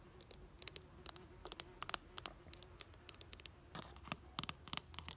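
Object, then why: Ribbed plastic planter box with soil. Long nails scratch and tap a red ribbed plastic planter box filled with soil and plants. Quick, dry, bright clicks and scrapes come in a steady irregular patter over a faint low background hum. Each tap dies away almost at once with no ring.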